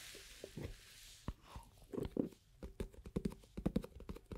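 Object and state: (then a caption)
Plastic cream jar tapped with nails. Long acrylic nails tap on the lid and sides of a small, hollow, round plastic cosmetic cream jar with a black lid and a white-and-red label. A quiet, irregular series of short, dry, hollow clip-clop taps with a low-mid tone follows, each dying away almost instantly. A faint airy hiss fades out at the start.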